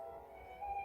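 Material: Nothing is struck.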